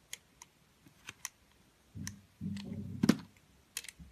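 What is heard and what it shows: A metal utility-knife blade cuts and scrapes slices off the rim of a round, multicolored solid soap bar with a confetti pattern, held in the palm by a hand with long pink nails. Sharp, bright clicks and taps from the blade are followed by soft, low, grainy scraping as slices are shaved away, with a louder crisp snap near the end of the longest scrape before more light clicks.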